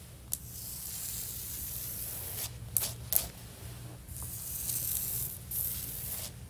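Fingertips and long nails rub and scratch across a solid, stone-pattern ceramic floor tile. The result is a steady, bright, hissing scrape over a low rumble, broken by a few sharp clicks and swells that grow louder and softer.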